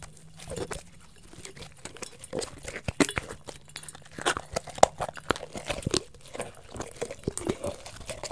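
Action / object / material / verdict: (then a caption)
tap / thin plastic water bottle / plastic / none. Fingertips and nails tap and scratch the crinkly sides of a small, hollow, clear plastic water bottle with a blue cap and label, held in both hands. Many quick, sharp taps and brief crackling scratches come in uneven bursts, some slow and some fast, over a faint steady low hum.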